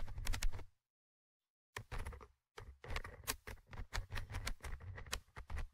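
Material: Metal mesh.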